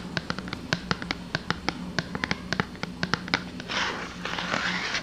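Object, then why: Small cardboard box. A small, hollow white and blue printed cardboard soap box, held in both hands, is tapped with long dark-painted nails, giving a quick series of short, dry, papery clicks over a faint low hum. In the final second or so, the nails scratch across the box in a rough, hissing rasp.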